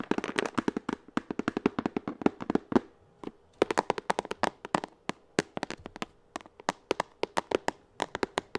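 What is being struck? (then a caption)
Hard plastic pencil case. Long acrylic nails tap a hollow, blue translucent hard plastic pencil case held in the hands, making about fifty sharp, dry clicks with a faint hollow tone. The taps come in quick clusters for the first three seconds, pause briefly, then continue in a steadier, more spaced-out rhythm to the end.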